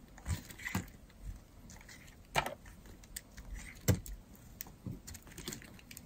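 A metal blade shaves curls off a solid, dry, yellow-and-white striped bar of soap held in the hand. Soft, irregular scraping and crisp little cuts run through the clip, with two sharper, louder snaps standing out. The sound is close and mostly low, with faint bright edges.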